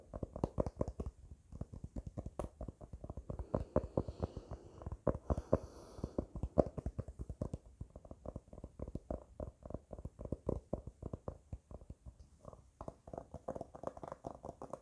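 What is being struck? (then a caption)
Hardcover book with glossy paper jacket. A small hardcover copy of "The Boy, the Mole, the Fox and the Horse" with a glossy paper dust jacket is held in one hand while the fingertips and nails of the other hand tap and scratch across its front cover. The result is a steady run of rapid, dry taps with a dull low thump and a papery midrange knock, each dying away almost instantly. Brief faint scratchy swishes come between them.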